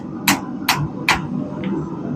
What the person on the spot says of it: You can hear the metal kind of hitting the anvil,